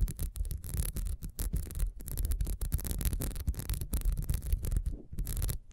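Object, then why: Ribbed wax candle. Long nails scratch quickly over the ridges and base of a small, solid, ribbed wax beehive candle, first standing upright and then on its side. The result is a dense run of rapid, dry scratching strokes with a heavy low rumble and bright, hissy edges, broken by brief gaps between strokes.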